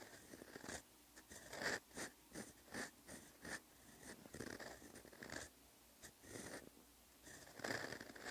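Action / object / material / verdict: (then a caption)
scrape / steel fountain pen nib on lined paper notebook page / paper / none. A steel fountain pen nib scratches across a flat, lined paper notebook page while writing Korean text. Quiet, breathy scratching comes in short bursts with a bright edge and a faint high squeak in some strokes, separated by brief pauses between strokes.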